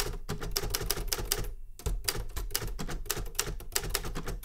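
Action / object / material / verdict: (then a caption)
tap / metal manual typewriter / metal / none. A Remington Super Riter metal manual typewriter is typed with fingertip taps on its keys, giving a rapid run of sharp, bright clacks over a low mechanical thump. Each stroke dies away almost instantly, and there is a brief pause partway through before the steady typing resumes.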